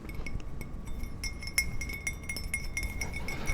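A glass Batman mug is tapped in a long, quick run of light clinks. Each tap gives a short, bright ring centred near 2.2 kHz that dies away almost at once, over a steady low rumble.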